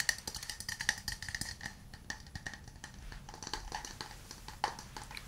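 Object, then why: Small wooden cup. A small hollow wooden cup with light, visible grain, probably empty, is held in both hands and tapped on its sides with fingernails and fingertips. The result is a quick, irregular series of dry, clicky taps with a brief bright ring near 1.8 kHz that dies away almost at once. One sharper, louder tap stands out near the end.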